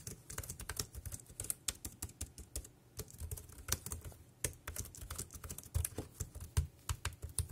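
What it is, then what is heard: Plastic keyboard being typed on. Fingertips type rapidly on a compact dark grey plastic Bluetooth wireless keyboard with round keys and a hollow body, resting on a black plastic bag. Quick, irregular clacks each pair a low hollow thump with a bright, crisp click. Every keystroke dies away almost instantly.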